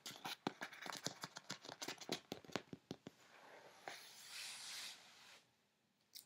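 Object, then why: Corrugated cardboard box. Fingertips and long nails scratch and rub quickly across the side and top of a large, closed, brown corrugated cardboard shipping box lying on a bed. A fast run of sharp, bright scratching strokes gives way to a steadier, hissing rub. After a short quiet pause, a final brief scratch closes the clip.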